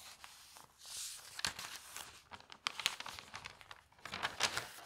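Hands turn the thin newsprint pages of an open paper newspaper lying on a table and rub them flat with their fingertips and long nails. Dry, bright crinkling and rustling come in quick, uneven bursts, with a soft hiss of paper sliding between the sharper crackles.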